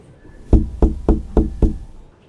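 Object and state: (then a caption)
Hollow thin partition wall. Five knocks on a light, wood-like interior partition wall shared with a neighboring room, each a hollow, low thud that dies away quickly. The thin, hollow sound marks the wall as poorly soundproofed.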